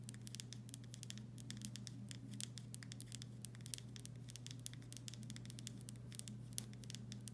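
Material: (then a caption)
Glass. Long nails tap and scratch the body of a full glass pickle jar with a paper label, held in both hands. Rapid, quiet, bright clicks and scratches patter along continuously over a steady low hum, each tap dying away almost instantly.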